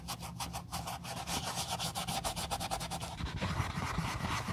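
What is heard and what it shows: A wool dauber rubs dye over the vamp straps and near the sole of an empty brown Josef Seibel leather sandal while an old shoe is being refurbished. It makes steady, rhythmic soft brushing strokes with a bright, papery hiss. The strokes grow slightly louder and denser toward the end, over a faint low hum.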